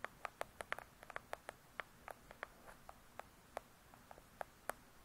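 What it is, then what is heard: Hardcover book cover tapped with nails. Long pointed acrylic nails tap on the glossy paper-covered cardboard cover of a large hardcover book lying flat and solid. About nineteen quick, light, dry clicks come at an uneven pace, each with a brief hollow tone near 600 Hz and a bright tick that stops almost at once. The tapping is quiet over a faint hiss.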